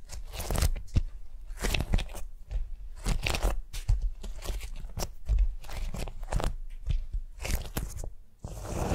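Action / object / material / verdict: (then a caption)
scrape / beeswax-coated cotton food wrap / waxed cotton / none. A large, flat beeswax-coated cotton food wrap lies spread on a mat on a table while fingertips and long nails scratch and rub across it. Repeated crinkly, crunchy scraping bursts come in quick strokes with brief pauses between, closing on a steadier rubbing swish.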